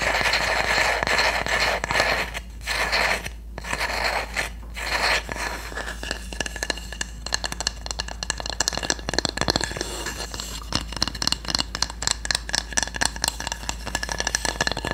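A solid, flat bamboo or wooden cooking spatula has its blade tapped and scratched with long nails. A continuous dry, bright scraping fills the first few seconds, then gives way to rapid, crisp taps and short scratches with almost no ring.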